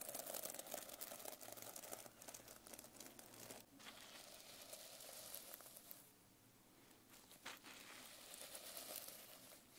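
A flat hand and fingernails brush across a reversible plastic sequin cover on a notebook, flipping the sequins between colour and silver. The result is a dense, bright, crinkling rustle of tiny clicks that runs almost continuously, easing briefly in the middle before picking up again.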